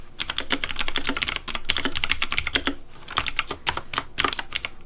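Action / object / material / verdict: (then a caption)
tap / plastic mechanical keyboard / plastic / none. Fast fingertip typing on a pink plastic Razer Deathadder V3 Pink mechanical keyboard with hollow plastic keycaps produces a rapid stream of bright, sharp clicks and clacks over a faint low thump. The keystrokes come in dense bursts with a brief lull partway through, and each one dies away almost instantly.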